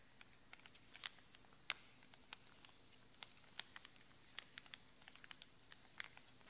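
A small, flat, red printed cardboard product box, hollow and held in the hands, is tapped and scratched with the fingernails. Quiet, sharp, bright clicks and ticks come in an irregular patter over a faint low hiss, each one dying away almost at once.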